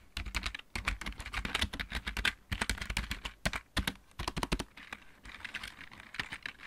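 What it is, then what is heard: Plastic mechanical keyboard. Both hands type with their fingertips on a full-size backlit plastic mechanical keyboard. The result is a rapid, uneven run of sharp, dry key clicks, bright around 2 kHz with a low thump beneath, and brief pauses between bursts.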